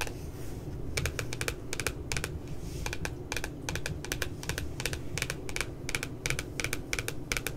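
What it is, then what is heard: Spiral notebook with glossy cover (nail tapping). Long nails tap quickly on the glossy paper cover of a flat spiral notebook with a puppy design, making crisp, bright clicks in rapid clusters. There is a brief pause in the tapping while the hands leave the frame, and a steady low hum runs underneath throughout.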